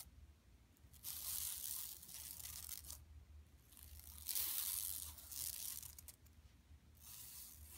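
Long nails scratch across a large, flat, empty yellow woven plastic mesh tote bag lying on carpet. The sound is a series of bright, dry, rasping scratches in bursts of varying length, separated by brief quiet gaps with a low steady hum underneath.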